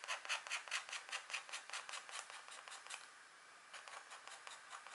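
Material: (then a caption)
Wax coating. A pointed green stylus, held in a hand with long nails, scratches short strokes into a flat, thin, black wax-coated scratch art card resting on a table. A rapid run of dry, bright, raspy scrapes pauses briefly in a soft hiss, then resumes with quieter strokes.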